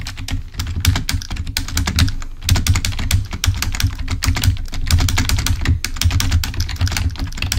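A full-size, wired, black plastic Microsoft membrane keyboard lying on a white table is pressed with the index fingertips, then typed on with both hands. The result is a dense, steady stream of quick, muffled key clicks and taps with bright clicky edges over a heavy, low thud.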